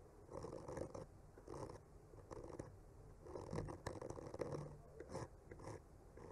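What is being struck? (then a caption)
Painted wooden panel and bamboo skewer. A bamboo skewer slowly traces and scratches across a solid wood panel painted with trees. Quiet, soft scratchy strokes swell and fade in uneven bursts with short pauses between them. The sound stays low and muffled, with little bright content.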